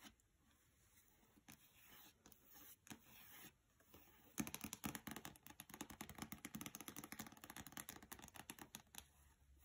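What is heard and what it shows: A small, solid paperback book with a glossy cover lies closed on carpet while fingertips and long nails rub and scrape across the cover. Soft, faint rubbing strokes come first, then a dense run of quick, irregular scratches with a bright, papery hiss. It ends in a quieter swish.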